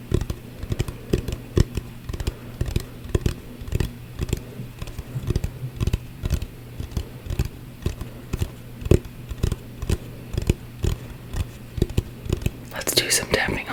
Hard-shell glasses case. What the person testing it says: it's a glass's case so it's Hollow but it's small and it's got kind of a hard shell